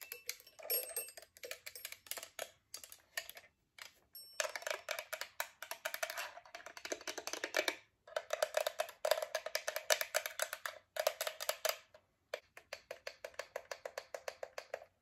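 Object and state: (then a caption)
Metal twin-bell alarm clock. Long acrylic nails tap rapidly across the twin bells, back and glass face of a chrome metal alarm clock. Dozens of light, clicky, bright taps with a faint metallic tone near 620 Hz come in quick bursts separated by brief pauses, each tap dying away almost instantly.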